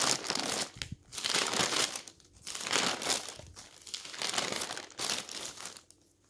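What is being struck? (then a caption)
Newsprint newspaper pages. A hand turns and flattens the thin pages of a stack of newsprint newspaper. Repeated bright bursts of rustling and crinkling, mostly high and papery with almost no low end, come with brief quiet gaps between them.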